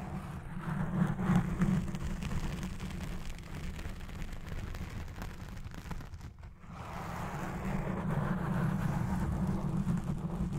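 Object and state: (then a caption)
Foam microphone windscreen being scratched. Both hands scratch all over a black foam windscreen on a Blue Yeti Pro microphone with fingertips and long red nails. This produces a dense, continuous, crackling rumble that is heavy in the low end, with a steady low hum around 200 Hz. The sound dips briefly near the six-and-a-half-second mark, then returns louder.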